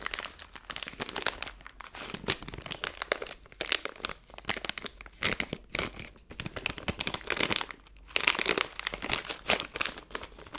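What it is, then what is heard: Plastic candy bag crinkled. A plastic-film Skittles candy bag has its top twisted and is squeezed in a fist, producing dense, continuous crinkling. Sharp, bright crackles come in rapid bursts with almost no low end, growing louder and busier around the eight-second mark.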